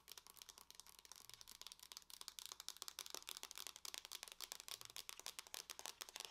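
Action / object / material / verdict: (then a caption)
tap / closed aluminium laptop lid / aluminium / none. Long fingernails on both hands tap rapidly across the lid of a closed silver aluminum laptop, whose thin shell is hollow. The result is a quiet, steady stream of sharp, bright clicks that die away instantly, with almost no low-end body.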